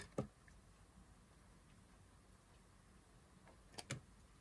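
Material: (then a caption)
Soap. A thin blade carves a solid green dry soap bar, shaving off pieces with cutting strokes. Short, dry, crisp ticks come from the blade: one near the start and a close pair near the end. Between them there is only a faint, low hiss, and each tick dies away almost instantly.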